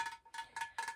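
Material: Ceramic.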